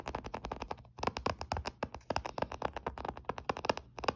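Short fingernails tap and scratch the front edge and DS logo area of a closed olive-grey plastic Nintendo DS Lite, a small hollow handheld game console resting on a blanket. About thirty quick, dry clicks and ticks with a hollow mid-pitched knock come in fast uneven bursts, each dying away almost instantly, with light scraping between them.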